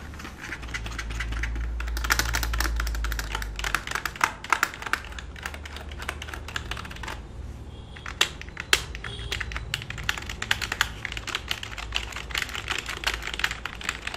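Fingertips tap and type on the keys of a black full-size plastic computer keyboard resting flat on a lap. A rapid, uneven stream of short, dry, bright clicks plays over a steady low hum, with a few sharper, louder keystrokes standing out.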